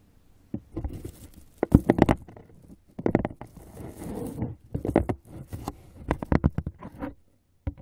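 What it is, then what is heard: Cardboard box, tapped and scratched. Fingertips tap and scratch the inside and rim of an open, hollow brown corrugated cardboard box. Clusters of soft, dull, hollow taps with a low-mid thump mix with papery scratching bursts, separated by short quiet gaps. One final isolated tap closes the clip.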